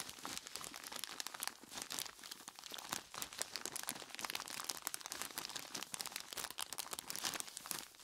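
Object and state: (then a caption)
Plastic bag of ice cubes. A large clear plastic bag full of ice cubes is gripped and squeezed by hands in skeleton-claw gloves. It gives a steady run of bright plastic crinkling and crunching ice for about eight seconds. The sound is dense and high, with almost no low end.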